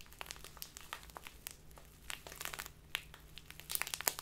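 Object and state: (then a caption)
Crinkly plastic tea bag. A small crinkly plastic bag full of loose tea is squeezed and crumpled in both hands with long nails. Quiet, bright, dense crinkling with sharp crackles grows busier and louder toward the end, with a faint steady low hum underneath.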